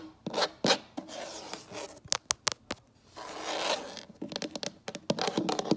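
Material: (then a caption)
Wood. Long acrylic nail tips scratch and tap a solid, light wood-look tabletop, heard up close at table level. Bright, raspy scratching strokes alternate with quick, sharp taps that stop dead with almost no ring.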